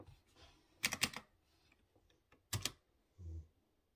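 Fingertips type on a typewriter-style mechanical keyboard with chrome-rimmed round keycaps on exposed blue switches. Bright, sharp key clicks come in short clustered bursts separated by quiet gaps. The clip ends with a brief, muffled low-pitched thump.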